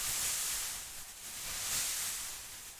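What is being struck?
Nothing is struck.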